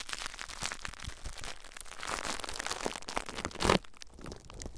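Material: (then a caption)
Plastic. Clear plastic bubble wrap wrapped around a recorder is pressed, scratched and squeezed by fingertips, making a run of crinkling, crackling pops. The sound is broadband and bright, with one louder burst near the end before it quiets to soft crinkles.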